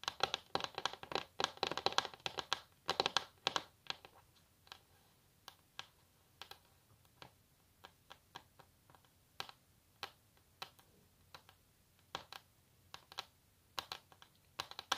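Long natural nails tap and scratch on a solid wooden table top. The first few seconds hold dense, rapid clicking with bright scratchy texture. The rest settles into sparse, short, crisp taps with almost no ring and little low end.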